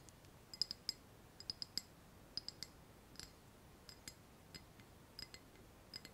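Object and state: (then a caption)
Ceramic saucer. A small white ceramic saucer resting on a palm is tapped on its upper face with the fingernails of the other hand. About 20 quiet, bright, clicky taps with a high ringing tone come in irregular clusters of two or three. Each tap dies away almost instantly over a faint background hiss.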